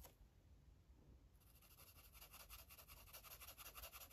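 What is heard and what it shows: An orange felt-tip marker rubs and scribbles across a paper coloring book page. After a near-silent start, quick, bright, scratchy strokes repeat in a steady back-and-forth rhythm, growing slightly louder toward the end.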